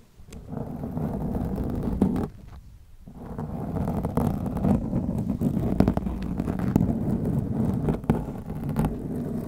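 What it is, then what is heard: Foam microphone windscreen being scratched. Long glittery nails scratch the black foam windscreen on a white microphone, producing a dense, muffled scratching and rustling that is heavy in the lows around 200 Hz. The scratching drops off briefly for about a second, then resumes, steady with irregular louder swipes through the rest of the clip.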